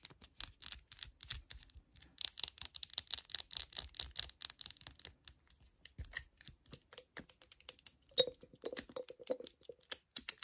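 Long nails rapidly tap and scratch a small, hand-held amber glass serum bottle with a pink label sleeve and a dropper cap, with liquid inside. The first half is dense, bright, scratchy rasping. It gives way to quick, crisp clicking taps, some of which add a short glassy tone near 500 Hz, all at a quiet level.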